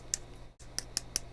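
Five sharp, bright clicks ring out as a fingertip taps the hard plastic case of a new GoPro Hero 8 action camera body, each tap dying away almost instantly over a steady low hum. The tapping shows that this case is a harder plastic than the older, more rubberized one.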